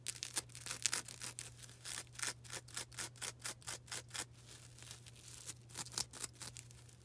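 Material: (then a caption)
Foam. A small, soft, porous yellow-green foam sponge is held in both hands and scratched and squeezed with long black nails. The result is a quick series of bright, dry, scratchy rasps, mostly in the high range, over a faint steady low hum.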